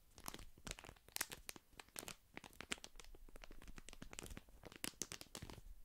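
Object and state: Paper tea sachet, crinkled.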